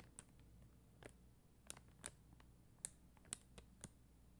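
Long dark-green nails tap and scratch a flat sheet of red and clear faceted plastic rhinestone stickers on a white backing. The result is a quiet series of short, bright, crisp clicks with faint scratchy scrapes between them, over a steady low background hum.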